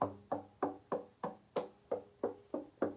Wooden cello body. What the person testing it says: if you hear a very hollow sound then everything's fine